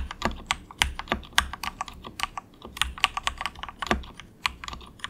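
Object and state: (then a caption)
Plastic mechanical keyboard. Fingertips of both hands type softly on a cheap, compact 68-key plastic mechanical keyboard with a hollow case, resting on a dragon desk mat. About two dozen quick, bright clacks come in an uneven rhythm, each dying out almost at once, with a few thuddier keystrokes now and then.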